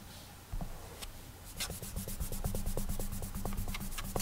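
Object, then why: Glass tablet touchscreen. Clammy fingertips rub and drag across the glass touchscreen of an iPad while drawing with a finger, making a squeaky, sticky friction. After a quiet, faint rubbing start, quick repeated strokes from about 1.5 seconds on add bright squeaks over soft low thumps against the glass.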